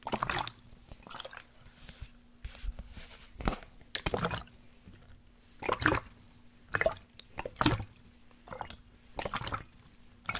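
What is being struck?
Plastic sports water bottle with liquid inside.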